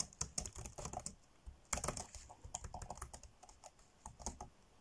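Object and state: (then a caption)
Plastic laptop keyboard typing. Fingertips tap fast on the dark grey plastic chiclet keys of an ASUS laptop keyboard, typing in quick bursts. Each keystroke gives a short, bright plastic click over a soft low thump and dies away almost at once. There is a brief pause in the middle before the rapid tapping resumes.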